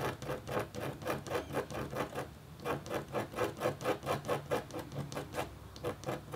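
The metal tip of a red stylus scratches across a thin, solid, flat black-coated copper-foil scratch art board. It makes a steady rhythm of short, dry rasping strokes, about two per second, with a midrange tone and a brief pause partway through. Each stroke stops quickly with almost no ring.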